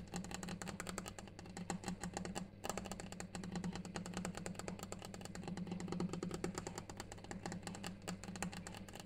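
A granite stone surface is tapped continuously in quick, dry, short clicks, with a clock ticking in the background and a steady low hum underneath.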